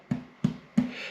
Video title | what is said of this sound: INDIAN BOMBAY POTATO BREAD- is it even a THING? lets FIND OUT | It sounds hollow, which means it should be cooked nicely.